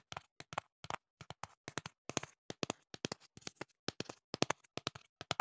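Fingertips tap the sides of a hollow printed cardboard box held by hand, producing a steady run of about thirty-two quick, dry taps, often in close pairs. Each tap is a short, hollow knock with a low-mid body and a bright click on top, dying away almost instantly with no ring.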